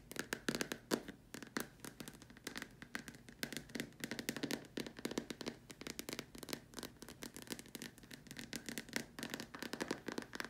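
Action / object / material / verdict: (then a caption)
tap / plastic dome lamp shade / plastic / none. Long nails tap rapidly on the sides of a large, white, hollow, empty plastic dome lamp shade, then on its far top edge, with the hands partly hidden behind the shade. The result is a steady stream of quick, sharp, hollow clicks with a light plastic ring and a bright edge, and each tap fades almost instantly.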